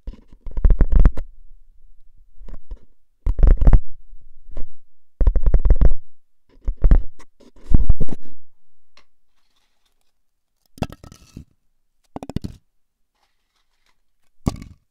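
Fingertips and nails tap and scratch the top rim and lid of a tall, hollow, seemingly empty Pringles-style composite cardboard crisp can with a paper label and metal rim. The result is bursts of rapid, deep, hollow drumming and scratchy patter, separated by short pauses, with the tapping becoming sparse and quieter toward the end.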